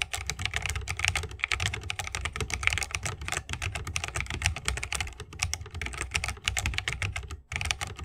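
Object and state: Mechanical keyboard with wooden case.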